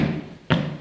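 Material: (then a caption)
Concrete. A single tap on a newly poured concrete basement floor slab, laid where the drain tile sits on top of the footer and leaves little room for concrete, gives a short, dull, low-pitched thud that fades within about a tenth of a second. The spot sounds hollow, and cracks are already forming in the brand-new section.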